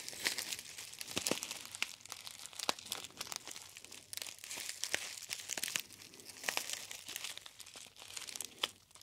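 A gold foil tea bag, a gold metallized foil pouch held in both hands, is crinkled by the fingertips. It makes a steady, bright crinkling and crackling with many quick, sharp snaps and almost no low end, rising and falling in waves over the nine seconds.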